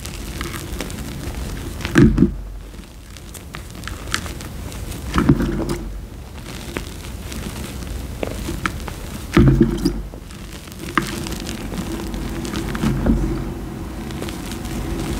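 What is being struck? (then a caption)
Loose fine powder (cornstarch-type) handled in a bowl. Both hands dig into, scoop and rub a deep pile of loose, fine orange-yellow dyed powder, cornstarch-type, in a bowl, and it falls through the fingers. A soft, low, muffled rustle and crunch runs throughout, with heavier swells of crunching near 2, 5, 9.5 and 13 seconds.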